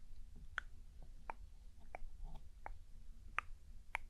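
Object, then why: Plastic microphone casing. Long acrylic nails tap six times on the black casing of a hollow binaural microphone held upright in one hand; the body has white ear pieces and an attached cable, and the casing looks like plastic. The other hand moves lightly near the far ear piece. Each tap is a short, sharp, bright click with no ring, over a steady low background rumble.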